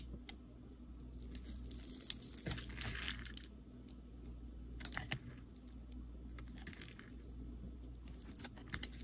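A metal utility-knife blade scores and carves layered shavings off a solid translucent yellow bar of soap held in the hand. Soft scraping and crisp little ticks and clicks come through, with a brighter, rasping stretch of carving early on. A steady low hum sits underneath throughout.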